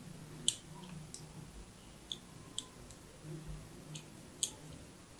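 A thin blade tip scores crossing lines into the face of a solid, rounded, hand-held soap bar with orange and white stripes. Short, crisp, bright scratching clicks come at uneven intervals, each with a sharp high edge and almost no ring. A faint low hum sits underneath.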